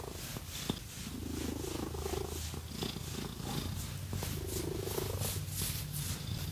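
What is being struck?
Nothing is struck.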